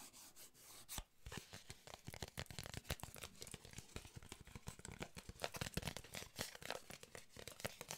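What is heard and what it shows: A small, solid stack of printed paper cards, an oracle or tarot-style deck held in both hands, is tapped and scratched with long nails. Dense, rapid, crisp clicks mix with dry scratching and papery rustle. Each tap dies away almost at once, with no ring.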